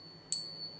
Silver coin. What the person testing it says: a glorious nice resonating ping and that comes from the structure of the silver in the silver coin form